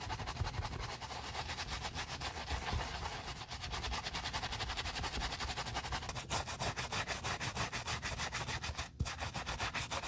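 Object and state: Knit fabric sneaker upper being scrubbed.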